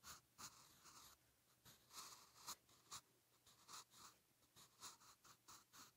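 A soft graphite pencil tip scratches across a lined paper page of a spiral notebook lying flat while writing cursive Hangul. The quiet, bright, scratchy strokes come in short bursts separated by brief pauses.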